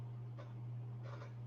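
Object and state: Nothing is struck.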